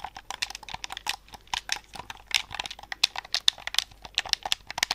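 Fingertips and thumbs tap and click the black buttons of a hollow, white plastic Xbox-style controller held close to the microphone. About 26 quick, irregular clicks and taps are heard, each sharp, dry and bright with almost no ring and very little low end.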